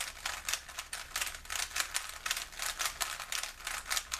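A small solid plastic 3x3 Rubik's cube is held in both hands while fingertips twist its layers. The twisting makes a rapid, continuous run of short, dry plastic clicks and rattles, bright and crisp with almost no low end and no lingering ring.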